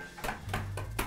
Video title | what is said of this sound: JA TO MOGU S01E32 - VRTIĆ "SRETNO DJETINSTVO" | Kad čuješ da je puklo, ide jaje u činiju. Još malo jače.